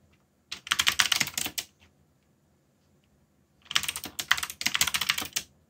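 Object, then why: Mechanical keyboard with plastic keycaps. Fingertips type on a backlit mechanical keyboard with plastic keycaps in two quick bursts of bright, crisp clicking separated by a pause of about two seconds. Each keystroke is a sharp, short click with little low end and almost no ring.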